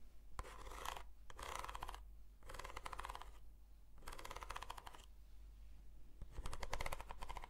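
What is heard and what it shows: Long nails scratch along the length and end of a hollow, textured corrugated cardboard box, in a series of raspy strokes with short pauses between them. Each stroke is a dry, ribbed rasp in the midrange with a faint bright edge. A steady low hum sits underneath throughout.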